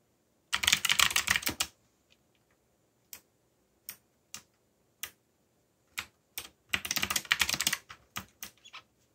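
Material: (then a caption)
Plastic. Fingertips type rapidly on a backlit mechanical computer keyboard with plastic keycaps. Two dense bursts of bright, clacky keystrokes are separated by scattered single key presses. Each click is sharp and dies away almost at once.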